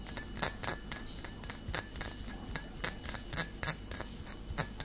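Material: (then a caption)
Glass. Long nails tap the glass base and body of a full glass bottle of cider vinegar, held tilted and then set upright. About eighteen short, bright, glassy clicks come at an uneven, quick pace, each dying away almost at once over a quiet background.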